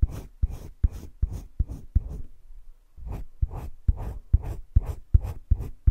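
A green colored pencil rubs dense shading strokes across flat cream drawing paper in a wire-bound spiral sketchbook. Thirteen quick back-and-forth strokes are heard as soft, low scratchy scrapes in two runs, with a short pause between them.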